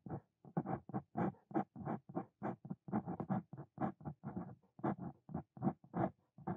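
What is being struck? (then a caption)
Steel dip pen nib on paper notebook page. A steel Brause Cito Fein dip pen nib scratches across a flat white paper notebook page as it writes a line of Korean text. About twenty-two short, separate scratchy strokes follow one another in a steady rhythm, each one dry and papery with a low-mid body. A few strokes carry a brief brighter edge, and each stops almost at once with no ring.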